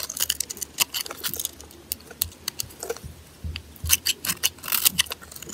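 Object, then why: Bar of soap scraped with a metal blade. A metal blade scrapes and carves curls off the face of a solid white glitter-coated bar of soap held in hand. The sound is a string of quick, dry, crisp scratches and crackles, bright and high with little low end. The strokes come in uneven bursts with short pauses between them.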